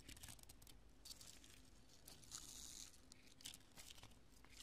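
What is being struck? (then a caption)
Cured polyurethane spray foam pieces. Long nails and fingertips press and scratch across scattered chunks of cured, porous, pale-yellow polyurethane spray foam resting on a purple cloth. The result is a quiet, steady stream of dry crunching, crinkling and scratchy crackles, bright in the highs, with short, dead clicks that stop almost instantly and a low rumble underneath.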